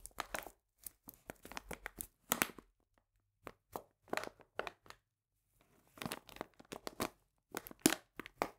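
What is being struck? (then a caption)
Paper bag of cane sugar. A medium printed paper bag full of cane sugar is lifted and squeezed with both hands, making dry crinkling and crackling bursts. The bursts come in irregular clusters separated by brief silences, each spreading from low-mid into bright highs and stopping almost instantly. The overall level is quiet and close.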